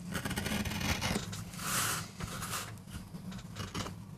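A metal gouge carves and scrapes fine lines into the surface of a small, flat, solid MDF carving block. The result is a run of irregular, rasping scrapes with a bright, hissy edge, including one longer, brighter stroke in the middle, over a steady low hum.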